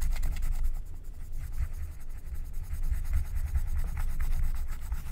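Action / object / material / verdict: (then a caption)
scrape / wax-coated paper scratch-art card and wooden stylus / waxed paper / none. A wooden stylus scrapes a flat, thin, black wax-coated paper scratch-art card with back-and-forth rubbing strokes. The result is a steady, close scratching texture with a low, rumbling body and faint bright crackles on each stroke, continuing without a break.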